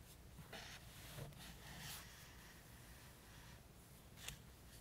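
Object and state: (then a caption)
Highlighter stroking paperback pages. A green felt-tip highlighter draws long diagonal strokes across a table printed on the thin paper pages of an open softcover paperback book. Soft, dry, scratchy swishes rise and fade over a low, steady background hush, with a brief, brighter tick near the end.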